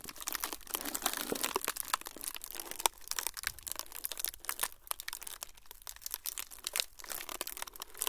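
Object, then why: Thin frosted plastic sheet. A thin, flexible, semi-translucent frosted plastic sheet is crumpled and crinkled by both hands. A dense, continuous stream of bright, crackly crinkles and sharp snapping clicks runs throughout, with little low-end weight and no ringing after each crackle.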